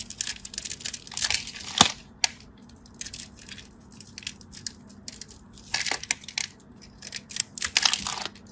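A craft knife scratches and cuts into a solid orange striped bar soap, crushing the cubes off its surface. Bright, crackly crunching and scraping come in short bursts with quiet gaps, and a couple of sharper snaps stand out near the two-second mark.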